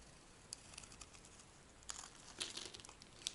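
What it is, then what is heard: Dry soap bar being shaved. A metal blade shaves a light green, rectangular bar of dry solid soap, peeling off thin sheets. The result is a quiet, bright, crinkly scraping broken by short, sharp crackling ticks that stop at once with no ring.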